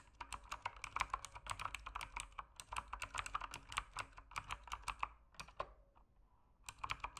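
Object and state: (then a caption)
Plastic mechanical keyboard. Fingertips type on a full-size RGB-backlit mechanical keyboard with plastic keycaps, resting on a desk in a dim room. The rapid, quick-decaying key presses produce clicky, clacky taps centered around 1 kHz with bright tops. A brief lull falls near the six-second mark before the typing resumes.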